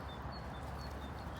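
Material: Nothing is struck.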